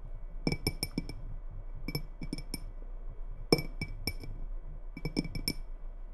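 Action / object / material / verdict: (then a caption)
tap / glass tumbler partly filled with water / glass / none. Long red nails tap the walls of a small faceted clear glass tumbler, partly filled with water and held in both hands. Four quick bursts of light, bright clinks sound, each dying away almost at once over a faint low hum.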